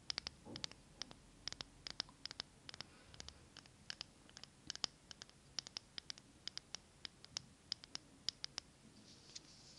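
A small glass jar candle filled with green wax is tilted in the hands while long acrylic nails tap and scratch the glass. The result is a quick, irregular run of sharp, bright clicks with very short ring, over soft scraping and a low, quiet background.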